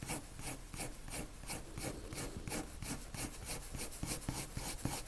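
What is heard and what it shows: A lavender colored pencil shades a circle on a white paper sheet with quick, repeated rubbing strokes. Each stroke gives a soft, scratchy rasp with a bright, airy top over a low papery rumble. The strokes come in a steady back-and-forth rhythm.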